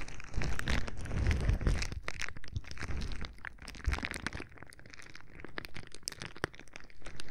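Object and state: Plastic bubble wrap.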